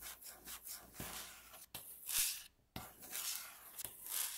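Long natural fingernails slowly scratch and rub across a solid, light wooden tabletop. The result is bright, hissy scraping strokes that swell and fade, broken by brief silent gaps and a few sharp ticks.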